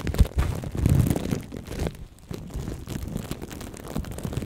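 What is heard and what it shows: Plastic cling film wrapped over a right microphone is cupped in both hands while fingertips and long nails squeeze, scratch and tap the film. The result is a close, muffled stream of low, rumbling crinkles and soft thumps with very little bright content, briefly quieter near the middle.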